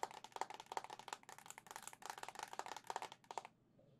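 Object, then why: Plastic handheld game console shell. Long nails tap rapidly on the hollow white plastic back of a Zelda-edition Nintendo Switch OLED console held up in the air. The result is a quick, irregular flurry of light, clicky taps with a hollow tone around 900 Hz and a bright edge. Each tap dies almost instantly, and the tapping stops just before the end, leaving faint quiet.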